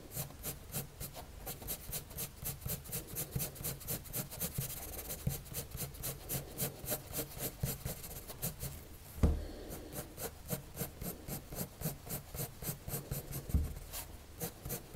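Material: Paper.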